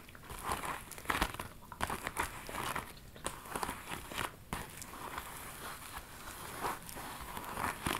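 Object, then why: Small metallic faux leather handbag. A small, hollow, hot-pink metallic faux leather handbag with a gathered front flap is held in the hands and scratched and tapped with long metallic nails. The result is a steady run of crinkly, scratchy rustling broken by quick, soft tapping clicks, mostly in the midrange with brief bright edges and almost no ring after each touch.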